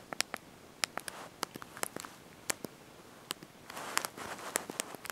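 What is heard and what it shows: Thumbs and fingertips press and tap the small backlit plastic keys of a handheld slide-out mobile phone's QWERTY keyboard while typing a message. About nineteen sharp, bright, dry clicks sound in an irregular rhythm, each dying out almost instantly. A faint rustling hiss swells between taps near the end.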